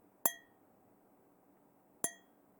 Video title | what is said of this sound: De qual material é feito? - Rioeduca na TV – 2º Ano | é bem diferente quando eu bato no plástico